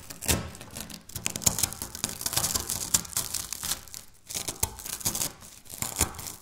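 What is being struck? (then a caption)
Wafer biscuit crumbs on stone. Dry wafer biscuit crumbs and chunks are crushed and scratched by fingertips and nails on a stone countertop. Dense, bright crackling and crunching comes in short bursts with brief pauses, sharp crisp snaps standing out over a gritty scraping texture.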